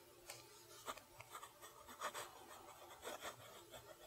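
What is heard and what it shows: A steel fountain pen nib scratches across a lined page of a spiral-bound notebook while writing cursive. Quiet, dry, raspy strokes come in short bursts with a bright scratchy edge, each stroke ending quickly, over a faint steady hiss.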